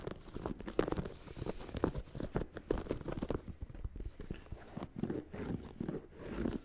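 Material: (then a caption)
Rubber, foam. Fingertips and short nails scratch and tap a single hollow, empty beige sneaker with a patterned textile or leather upper and a white foam and rubber sole with an air unit, held close. The result is a dense run of soft, dull taps and scratchy rustles, mostly low and muffled, with no ringing after each touch.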